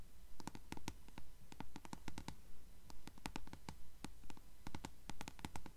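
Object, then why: Paperback book page edges (paper). Long fingernails scratch and tap the yellowed page edges of a closed blue paperback book held sideways. Quick, sharp, bright clicks and scratches come in clusters at a steady rhythm over a soft low rumble.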